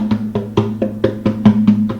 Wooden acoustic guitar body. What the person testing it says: It's hollow. That means there's nothing in there.